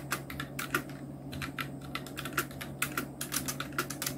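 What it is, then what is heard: Plastic mechanical keyboard. A full-size black plastic mechanical keyboard with Outemu red switches, round plastic typewriter-style keycaps and blue backlight sits on a white desk while the fingertips of both hands type on it. It makes a steady run of quick, bright plastic key clacks with short, dry decay over a faint low hum.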